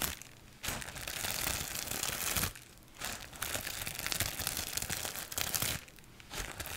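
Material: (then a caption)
Plastic. A large sheet of clear plastic bubble wrap is held close and scratched and crinkled with long acrylic nails. The result is bright, dense crinkling and scratching in several bursts, broken by brief quieter pauses.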